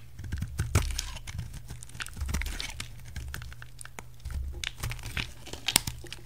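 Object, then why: Bar of soap cut with a knife. A utility knife carves a solid green oval bar of soap, shaving thick slices and flakes off its surface. Crisp, crunchy scraping cuts and sharp little clicks come in quick irregular bursts over a steady low hum. Each cut stops short with no ring.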